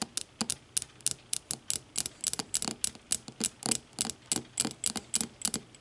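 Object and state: Glass tumbler tapped with fingernails.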